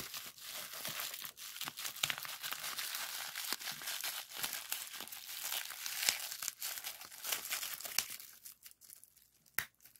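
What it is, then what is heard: Plastic bubble wrap. A clear plastic sheet of bubble wrap with hollow air bubbles lies on a wooden desk and is pressed and popped with fingertips, then rolled into a tube and squeezed. Dense, bright crinkling runs throughout, with sharp pops standing out. Near the end the sound thins out to a few isolated snaps.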